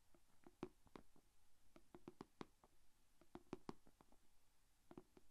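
Long painted fingernails of both hands tap on the closed lid of a small, shallow, rectangular clear plastic food container holding glitter slime. A quick, uneven series of light, dry clicks rings out, each with a hollow, muted tone around 360 Hz that dies away almost at once. Faint low hum fills the quiet between taps.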